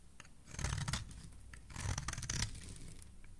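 A metal blade shaves thin curls from the edge of a solid pink marbled soap bar. Two rasping, crackly scraping passes rise and fade, bright and crisp on top over a soft low rumble, with quieter scratching between them.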